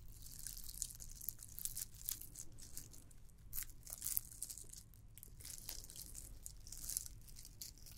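Long nails scratch and tap a red and white glittered plastic candy cane ornament. The result is a quiet, dense run of crisp, dry crackles and scratches with a bright, hissy top, over a steady low rumble.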